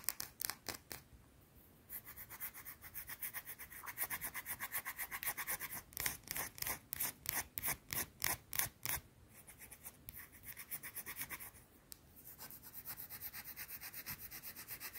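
Long blue nails scratch a small, round, solid white soap bar held in both hands, making quick, dry, bright scraping strokes in a steady rhythm. Softer, denser scratching alternates with louder, sharply separated strokes in the middle of the clip, then it eases back into lighter, continuous rasping.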